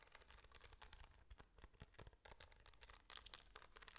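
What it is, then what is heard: Rhinestone-covered metal flask case. A small, hand-sized metal case shaped like a flask, its face covered with rhinestones, is held in the hand and scratched and tapped with long nails. The result is a quiet, dense stream of crisp, bright clicks and scratchy crinkling with no ring after each touch, over a low steady background rumble.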